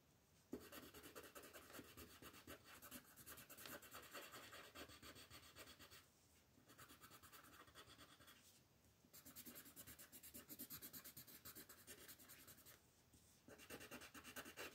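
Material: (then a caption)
Paper. A green colored pencil colors a thin white paper coloring page resting on a table, scratching in rapid small strokes while the other hand lies flat on the page. The dry, bright scratching comes in four bursts separated by brief pauses.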